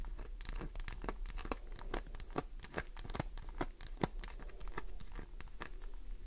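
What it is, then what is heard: Glycerin soap bar scratched with nails. Long nails scratch across a solid green glycerin soap bar, scoring and flaking its surface. Many quick, dry clicks and short tearing scrapes come in a fast, irregular run, with brief crinkly bright edges over a low, steady rumble.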